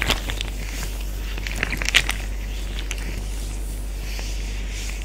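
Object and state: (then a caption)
Plastic zip bag filled with water. A clear Ziploc bag full of water, resting on a beige surface beside other untouched bags, is pressed, patted and tapped by an open hand with fingertips and short nails. Soft, irregular crinkly taps and brief bright crackles of the plastic stand out over a quiet, steady low hum, with a slightly louder cluster of taps near the middle.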